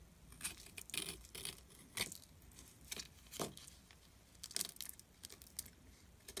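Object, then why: Glycerin soap bar scraped with a metal blade. A metal blade scrapes the surface of a solid orange glycerin soap bar, tilted on a table, into crumbly shavings. Quiet, bright, crackly scraping bursts come in irregular strokes, each with a crisp, dry edge and almost no ring, leaving only faint low background between them.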